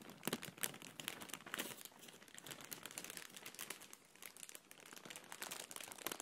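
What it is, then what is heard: Plastic bag being crinkled. A thin, apparently empty, medium-sized clear printed plastic packaging bag is held in both hands and crinkled and squeezed with fingertips and long nails. The result is a continuous, quiet, bright crinkling with rapid crackles and occasional sharper pops, and almost no low end.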